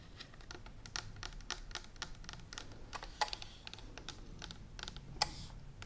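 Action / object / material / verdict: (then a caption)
tap / plastic steam iron body and water tank / plastic / none. A green and white plastic steam iron, with a hollow plastic body and a clear water tank, is tapped with long nails and fingertips. Quick, dry, irregular clicks and taps with a bright edge come over a faint low hum, and a few sharper taps stand out, the loudest near the end.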